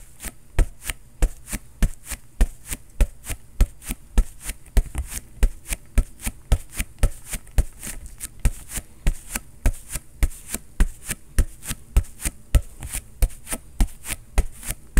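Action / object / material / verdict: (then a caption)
knock / synthetic leather soccer ball / synthetic leather / none. A fist rapidly pounds a hollow, inflated green and black Adidas soccer ball with a synthetic leather cover, held in the other hand. The result is a fast, somewhat uneven series of short, deep thumps with little ring, each with a faint bright slap on the attack.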